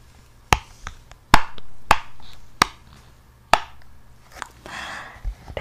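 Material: Silicone.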